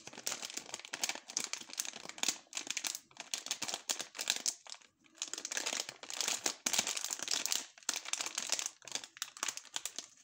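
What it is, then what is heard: Plastic foil candy bag. A small green printed plastic foil bag of Fruit Perfect Match gummy candies, full of gummies, is held, crinkled, squeezed and turned over by gloved fingertips, with other sweets lying unused on a wooden table. Dense, bright, crackling crinkles come in bursts across the whole clip, with almost no low end and short pauses, the longest near the middle.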